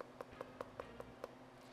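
A knife is tapped against the bone of an amberjack head while the cheek is being removed. Six short, light ticks with a pitch around 500 Hz land evenly about every 0.2 seconds and die away almost instantly. The tapping marks bone and stops where the soft cheek meat begins, tracing the cheek's outline before it is cut out.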